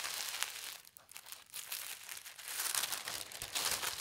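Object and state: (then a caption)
Tissue paper sheet being folded. A thin, already-folded polka dot tissue paper sheet is folded again and its creases are pressed down with the fingertips. The result is a steady, bright crinkling and rustling, mostly high-pitched with almost no low end, rising and falling in short papery bursts.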